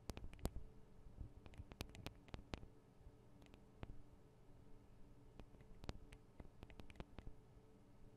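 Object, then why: Metal and plastic microphone capsules of a handheld recorder. The metal and plastic microphone capsules of a Tascam DR-40 recorder are tapped rapidly with the tips of long decorated acrylic nails. Sharp, very short clicks come in quick irregular bursts, with no pauses in between, over a quiet, steady low hum.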